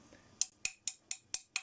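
Six light, evenly spaced taps on a part still drying out of acetone, before it is installed on a spinning coil setup, give short, bright, high clicks with a faint ring. The ringing rather than a dull tap suggests the part is getting really hard, though it is still to be left another day or two before installing.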